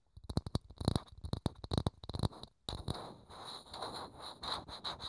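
Fingertips tap a small, hollow, thin clear plastic dome held in the hands, making quick hollow clicks with a low thump that follow one another rapidly for about two and a half seconds. After a brief pause, the fingertips scratch across the plastic in a continuous, swelling rasp with a faint high, bright edge running under it.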